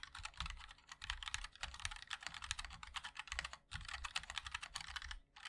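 A MOD-L 60% mechanical keyboard with a black aluminium case, white and black ABS plastic keycaps and linear switches is typed on continuously with the fingertips of both hands. It gives a rapid stream of short, bright clacks with a low thock underneath. The typing pauses briefly around the middle and again near the end.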